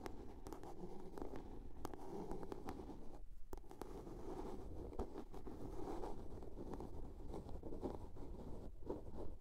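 Long polished nails scratch and tap on a small hollow blue plastic soap case with a lid. The result is a quiet, continuous, low scratching texture broken by short, sharp clicking taps that die away almost instantly.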